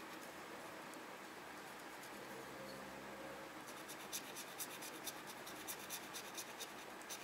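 The tip of a red plastic pen-like tool scratches the coating off the grid boxes of a small, flat printed paper parking coupon lying on a desk. It starts as a faint, steady soft rubbing, then turns into a run of quick, bright, scratchy strokes in short bursts. The whole clip stays quiet and close.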